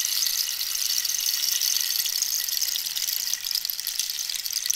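Long nails scratch along the ridged surface of a hollow cactus-wood rainstick held diagonally. The sound is a steady, bright, high scratchy hiss with almost no low end, running for nearly five seconds with only a brief dip near the end.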